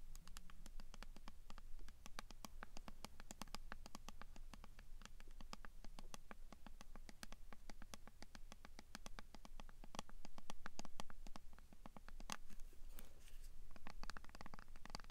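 Fingertips and nails scratch and tap the printed label of a hollow, medium white plastic skincare squeeze bottle with a green pump cap, held close. The result is a fast, irregular stream of short, dry clicks and scratchy taps over a steady low hum, growing a little louder and busier near the end.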